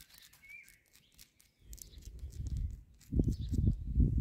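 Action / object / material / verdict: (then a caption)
tap / concrete palisade posts in a garden border / concrete / none. Long nails and fingertips tap and scratch the rough, porous tops of solid cylindrical concrete posts in a concrete palisade garden border, outdoors with birds chirping. After a quiet opening of high bird calls, dull, low scraping and tapping builds up and turns into heavier, louder bursts of scratching toward the end.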